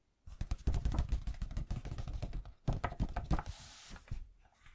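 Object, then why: Open hardback book, paper pages. Fingertips tap quickly on the yellowed paper pages of an old hardback book lying open, giving rapid, soft, low thumps with almost no ring. The tapping pauses briefly, resumes in a second burst, then gives way to a quieter bright rustling hiss before a few last faint taps.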